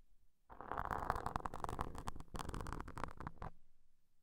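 The tip of a wooden toothpick, held between the fingertips, scrapes across soft, porous black foam microphone covers, moving from both covers to just one. Dense, crackly scratching with a heavy low rumble runs from about half a second to three and a half seconds, with a brief dip near the middle, then stops into near silence.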